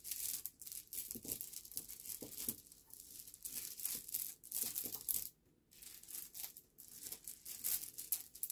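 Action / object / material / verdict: scrape / pile of small polished stone pebbles / stone / none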